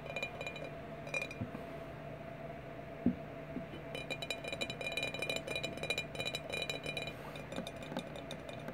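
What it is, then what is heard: Glass bottles. Glass bottles are tapped repeatedly, giving many sharp, bright clinks that ring only briefly over a steady low hum. The taps come sparsely at first, then form a denser, quicker run in the second half.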